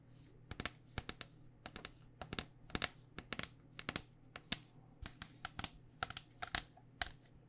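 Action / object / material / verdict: tap / plastic cycling helmet shell over foam / plastic / none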